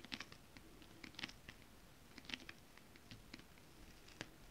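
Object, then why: Holographic scale-printed fabric tapped with long nails. Long decorated acrylic nails tap and scratch across a flat sheet of shiny holographic mermaid-scale-printed fabric. Soft, irregular clicks and brief scratchy bursts with a bright, crisp edge sit over a low background hiss, each tap dying away almost instantly.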